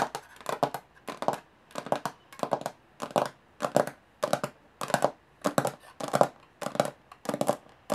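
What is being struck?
Small aluminum case with textured lid.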